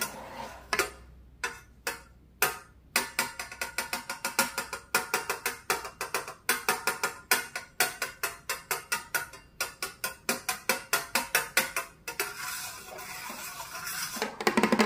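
Long pointed metal claw finger caps on both hands tap a flat, solid, medium-sized round glass mirror lying on a wooden table. Dozens of quick, bright clicks come in irregular bursts, then give way to a sustained scratchy hiss near the end before a few louder final taps.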